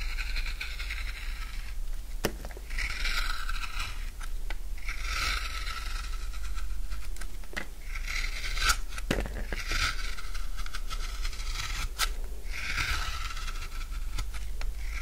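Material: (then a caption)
Soap. A utility knife shaves curls off the edge of a solid rectangular bar of dry blue soap. Repeated dry scraping strokes make a bright, crunchy rasp over a steady low hum, with a few short sharp clicks between strokes.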